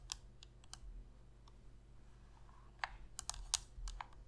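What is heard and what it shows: A black Sony PlayStation controller of hollow hard plastic is held in both hands while long red nails tap and scratch its shell and press its buttons. Sharp, bright plastic clicks come in a sparse run early on, then bunch together in the second half, over a low steady hum. Each click dies away almost instantly.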